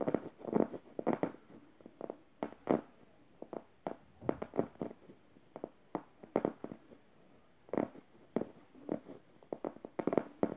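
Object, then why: Stuffed plush fabric cushion. Fingernails scratch the upper face of a yellow plush-fabric stuffed emoji cushion, near its felt eye. The result is a run of soft, dry, muffled rasping strokes, some quicker and some harsher, with brief quiet gaps between them.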